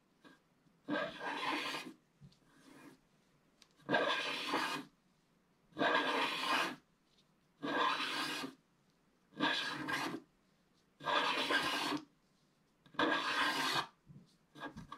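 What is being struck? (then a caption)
Scratch-art paper card scratched with a wooden stylus. A wooden stylus scratches the black coating off a flat scratch-art paper card along its right side, revealing the coloured print beneath. Seven clear, raspy strokes of broadband, bright filing-like noise, each lasting about a second, are separated by near-silent pauses, with a few faint scrapes in between.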